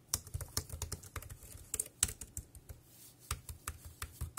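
Fingertips type on the round keys of a dark grey plastic wireless keyboard. About sixteen short, separate key clicks sound with bright tops and a soft low thump beneath, each dying away almost instantly, with a brief lull near the three-second mark before the typing resumes.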